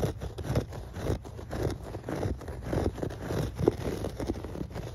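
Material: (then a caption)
Textile fibres. Fingertips and nails scratch and rub across a thick grey shag carpet with dense, fluffy pile. The result is a soft, muffled, uneven run of scratching and rustling strokes, heavy in the low end, with almost no brightness.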